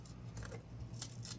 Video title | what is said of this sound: Easy Salisbury Steak! | you can hear how crispy it is